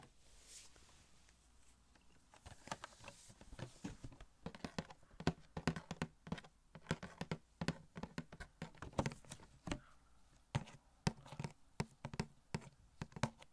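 A small hollow cardboard Funko Pop box of Elastigirl with a plastic window and the figure inside is held in the hand and tapped with the fingertips. Soft rustling gives way to a long run of quick, dry, hollow taps with a low body, each dying away almost at once, some patterned and some in quick bursts.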